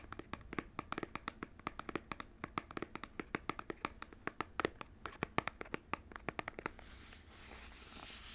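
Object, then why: Small cardboard box. A small cardboard Joy-Con controller box is held in both hands while fingernails tap and scratch its front panel. A long run of quick, sharp, dry taps gives way near the end to a steady, bright scratching rustle across the cardboard.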